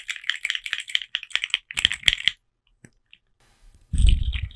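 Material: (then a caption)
Plastic. A colorful, hand-length plastic articulated caterpillar (slug) fidget toy with hollow segments is held in one hand, and its segments are flexed and clicked with the fingers close to the microphone. A quick run of bright, dry plastic clicks gives way to a few isolated ticks and a short pause. The clip ends with a louder burst of clattering clicks carrying a low thump.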